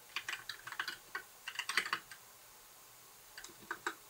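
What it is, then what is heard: Plastic mechanical keyboard being typed on. Fingertips of both hands type on a compact white backlit mechanical keyboard with plastic keycaps. Quick, bright plastic clacks come in a fast flurry, then a pause, then a few more scattered keystrokes. Each strike is crisp and dry with almost no ring.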